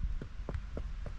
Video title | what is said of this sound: 19. Look at this Lobster Mushroom! Homestead Forager Vlog | when you tap it sounds like wood